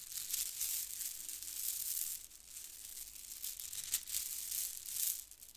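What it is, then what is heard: Plastic faux-pearl bead garland. A mass of white plastic faux-pearl bead strands from a plastic pearl bead garland is squeezed and shaken like a rattle between both hands. The result is a dense, bright, high clicking rattle with almost no low end, swelling in bursts and easing off between them.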